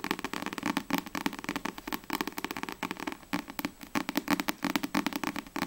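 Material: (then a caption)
Card. Long nails tap and scratch rapidly across the glossy card front cover of a single Black Butler paperback manga. The result is a steady run of many quick, dry, crisp clicks with a papery scratching texture and almost no ring.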